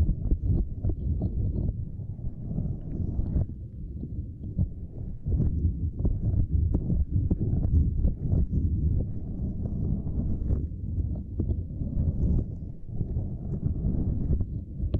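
Long nails on both hands scratch and tap a small, flat purple silicone lattice mat. The result is a steady, dense stream of soft, muffled, low thuds and rubbing with quick, dull taps and almost no high sound.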